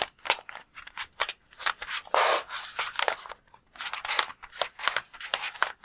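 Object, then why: Water-filled rubber balloon. A palm-sized, red-and-white latex balloon full of water is held in both hands while fingertips squeeze and tap it. A rapid series of short, crisp, crackly taps with bright, rubbery squeaks is heard, with a longer, fuller squeeze burst near the two-second mark. There is almost no low rumble, and each sound stops almost instantly.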